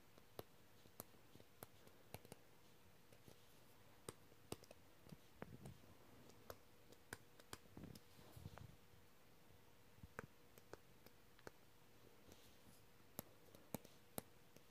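A plastic-tipped stylus pen taps and scratches across the flat, solid glass touchscreen of a tablet or laptop while writing words. Many short, sharp clicks come through at a quiet level, with soft scraping strokes in between and a faint steady hum underneath.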